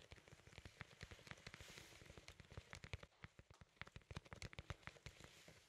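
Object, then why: Cardboard record sleeve. Fingertips tap quickly on a large, flat cardboard LP record sleeve held in both hands. The rapid, uneven taps make a soft, rain-like patter of short, dry knocks with low thumpy bodies and bright ticks over a faint steady hiss, each tap dying away almost instantly.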